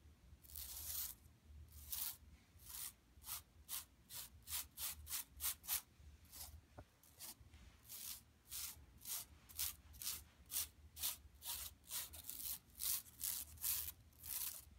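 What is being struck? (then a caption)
Woven plastic mesh bag. Long nails quickly rub and scratch the lower mesh of a large, flat, empty yellow woven plastic mesh tote bag lying on carpet. It makes a steady run of short, bright, hissy scratching bursts with brief gaps between strokes, over a faint low hum.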